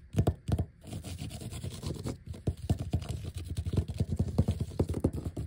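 A flat, thin black vinyl sheet of large die-cut letter stickers with the white backing showing is scratched and tapped with fingertips and short nails. Dull, low-heavy taps and soft scraping come in quick, uneven bursts with very short ring.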